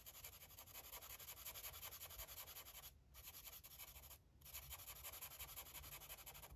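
An orange felt-tip marker rubs and scribbles across a paper coloring book page, making a steady, quiet, bright scratchy hiss in quick back-and-forth strokes. The strokes briefly pause twice in the middle before the scribbling picks up again.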